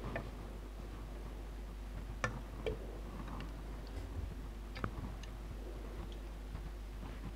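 A large glass jar with a gold lid, full of red liquid and glitter, is held in the hands and tapped on its glass side with long dark-painted nails. Sparse, light, bright ticks and clicks stand out over a quiet, steady low hum, each dying away almost at once.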